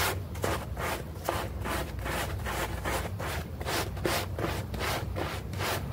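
A bristle brush scrubs a small, foamy green synthetic-turf doormat while the other hand pins the mat down. The brush makes steady, rapid back-and-forth strokes, about two or three per second, producing a broadband rasping scrub with a low rumble underneath and bright, hissy edges on each stroke.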